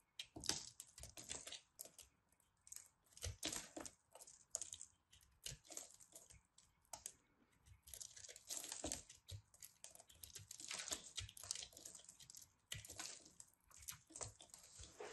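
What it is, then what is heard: Pressed soap ball being carved. A metal knife blade scrapes and slices crumbly layers from a solid, partly carved pressed soap ball, held in hands with long red nails. Quiet, bright, dry crunching and scraping come in rapid bursts and short strokes, with crisp crumbling texture and little low end. Each cut stops short with almost no ring.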